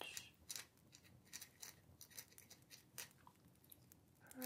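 A dip pen nib scratches short writing strokes across a small, thin, flat paper letter sheet resting on a wooden table. The strokes come as quiet, bright, dry scratches in short bursts with brief pauses between them, and the scratching grows louder toward the end.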